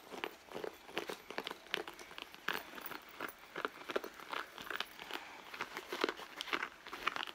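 Long blue nails scratch the leather front of a red leather handbag lying flat, near its zip pocket. The result is a steady run of short, dry, crinkly scrapes with a bright edge and almost no low end, each stroke dying away almost at once.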